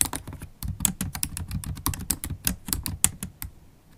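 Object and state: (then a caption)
Plastic laptop keyboard being typed on. Long acrylic nails and fingertips type fast on a MacBook Pro keyboard with black plastic keys set in an aluminium body. About twenty quick, sharp clicks with bright high ticks land over a soft low thud, each dying away almost at once, and the tapping thins out toward the end.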